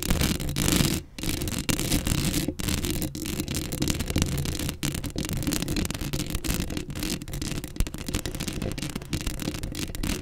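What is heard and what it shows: Long acrylic nails scratch continuously across the hollow metal mesh grille of a black Blue Yeti microphone, close up. The result is a dense, rasping scrape with a heavy low-end rumble and a thin bright hiss on top, broken by a few brief gaps where the nails lift off.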